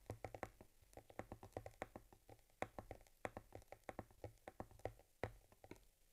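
Long nails and fingertips tap and scratch the top leather panel of a small, stitched cowhide leather camera case holding an Argus C3 camera. The result is a quick, irregular run of short, dry taps with a soft low thump and a faint scratchy texture between them. Each tap dies away almost at once.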